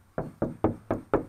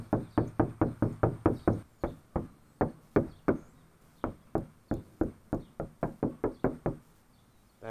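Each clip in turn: First: undamped sheet metal car panel. Second: car sheet metal panel, deadened.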